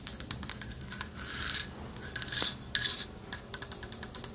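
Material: Wood.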